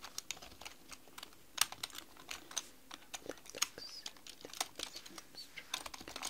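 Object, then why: Plastic computer keyboard keys. Long pink nails and fingertips type on a black mechanical computer keyboard with plastic keys. A quick, irregular run of sharp, bright clicks and taps comes out, each dying away almost instantly, with a few louder strikes over a faint, quiet background.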